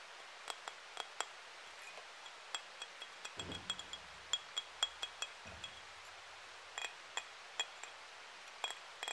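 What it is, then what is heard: Ceramic heart ornament. A flat, palm-sized, solid pink glazed ceramic heart-shaped hanging ornament with a ribbon and dotted pattern is tapped with fingernails. Many quick, bright clinks ring out briefly at a high pitch near 3.3 kHz, with a couple of soft low rumbles in the middle.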